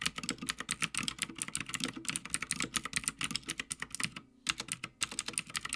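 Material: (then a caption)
Plastic, metal. Fingertips of both hands type continuously on a full-size backlit Havit mechanical gaming keyboard with plastic keycaps on a metal top plate. The result is a fast run of sharp, bright, clicky keystrokes with a light lower clack beneath. Two short pauses break the run near the end.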